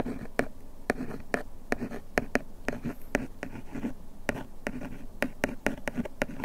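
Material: Paperboard.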